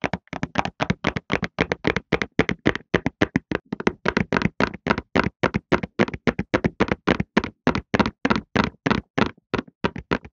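A printed cardboard tissue box, hollow and full of tissues, is held in both hands and tapped quickly with the fingertips on its sides and top to create a calming effect. About 58 short, dry, papery taps come in a fast, uneven rhythm with a hollow mid-range knock, and each stops almost instantly with no ring.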